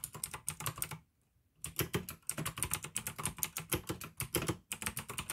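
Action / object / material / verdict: tap / plastic mechanical keyboard / plastic / none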